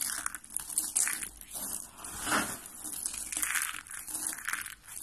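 Hands squeeze and crush purple and lilac dry soap flakes and curls in their fists. The result is a dense, dry crackling and crunching, bright and hissy with almost no low end, swelling and easing in uneven bursts as the grip tightens and relaxes.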